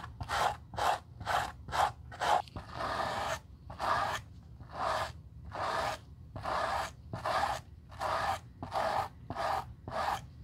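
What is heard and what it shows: A white-bristled brush sweeps across the nap at the toe of a black suede leather Gucci loafer with a gold horsebit, as part of restoring it. It produces a run of rhythmic, dry, raspy swishes: quick short strokes at first, then longer, slower ones. Each stroke is a bright, airy rub centered in the mids with little low end.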